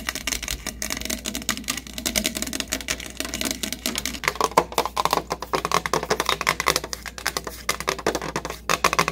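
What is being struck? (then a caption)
Plastic soda bottle. Fingertips and nails quickly tap and scratch over the body and paper/plastic label of a large, hollow, capped green plastic 7UP bottle held in both hands. The result is a fast, dense stream of short, dry clicks and scrapes with a hollow plastic ring around 1 kHz over a faint low hum. The taps grow louder and brighter after about four seconds.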